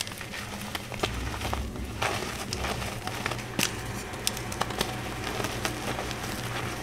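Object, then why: Block of gym chalk. Solid chunks of green gym chalk are crushed and crumbled into fine powder between the fingertips and palms of both hands. Many sharp, bright cracks and crunches pop out over a steady gritty crackle and a low hum underneath.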